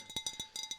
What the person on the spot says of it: this can be a little higher in pitch for this glass